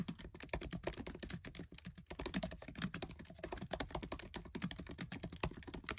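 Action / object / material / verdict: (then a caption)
tap / plastic laptop keyboard keys / plastic / none. Fingertips with short nails type fast on the black plastic keys of a MacBook Air keyboard set in an aluminium body, producing a dense, steady stream of short clicky taps with a soft low thump under each press. The keystrokes run together too quickly to count, with bright clicks decaying almost instantly and only brief dips in the rhythm.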